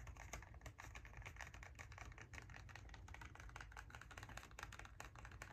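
Fingernails tap rapidly on the faces of a small, hollow kraft cardboard box held in both hands. The result is a quick, steady stream of short, dry, clicky taps with a soft low thud under each one and almost no ring, much like fast typing.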